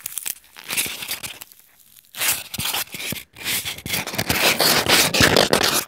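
A small solid white expanded polystyrene (styrofoam) block on a wooden table is scratched and rubbed with the short fingernails and fingertips of both hands. This makes bright, dry, crackling scratches and squeaky rubbing in quick, uneven bursts. A quiet pause comes in the first half, then the scratching returns denser and louder.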